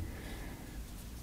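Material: Nothing is struck.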